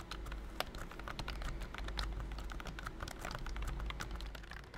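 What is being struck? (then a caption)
Plastic computer keyboard. Fingertips type rapidly on a pink plastic BT21 Cooky computer keyboard with round white and cream keycaps, a hollow body and a figurine on top. The result is a dense stream of quick, dry, clacky taps with short, bright click edges over a steady low hum.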